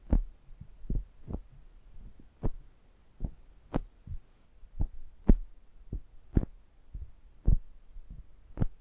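Index fingertips tap down on the metal mesh grilles of a stereo pair of small pencil condenser microphones, making direct contact with the mics. Twelve short, dull thumps are heard, heavy in low frequencies around 78 Hz with almost no high end and a very quick decay.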